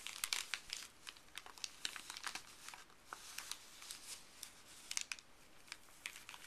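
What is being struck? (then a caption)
Thin paper bag. Fuzzy gloved fingers rub, crinkle and lift a thin, empty, printed white paper pharmacy bag. The result is a quiet, bright, dry crinkling with many quick, sharp crackles over a soft rustling hiss, with almost no low end.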